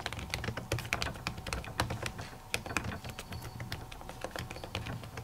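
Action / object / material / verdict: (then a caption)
tap / plastic laptop keys under a silicone cover / plastic, silicone / none. Long natural nails and fingertips type rapidly on a silver laptop keyboard whose plastic keys sit under a thin white printed silicone cover. The result is a dense, steady run of short, dry clicking taps, each with a soft low thump beneath a bright click and almost no ring.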